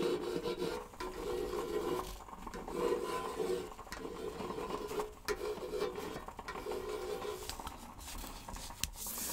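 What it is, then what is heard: Cardboard round decorative box. A round, hollow orange-and-red patterned decorative box, probably paperboard or cardboard, with a small clasp, is held in one hand while its surface is traced and scratched with a fingernail or a feather tip. Repeated raspy rubbing strokes carry a faint hollow hum in the low-mid range, over a steady soft, bright hiss.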